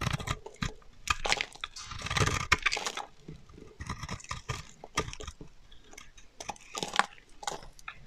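A solid, dry green bar of soap held in the hand is shaved and scraped with a metal utility knife blade, sending curls falling off. The result is a run of crisp, crunchy scraping strokes with bright, dry texture, some strokes longer and louder than others, separated by short quiet gaps.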